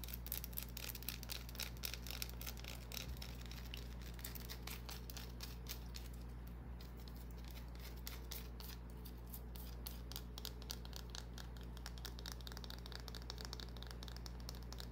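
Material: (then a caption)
Soap. Long fingernails scratch and tap a small, solid green bar of soap held in the hand, making quiet, rapid, irregular clicks and scrapes with a bright edge. A steady low hum runs underneath throughout.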